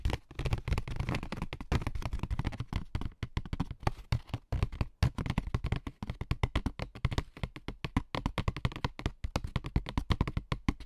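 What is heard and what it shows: A corrugated cardboard sheet held in the hand with its ribbed surface facing up is tapped and scratched with AA batteries worn on the fingertips. The result is a fast, continuous run of short, dry taps and scratching strokes, dull and mostly low-pitched, each dying away almost at once.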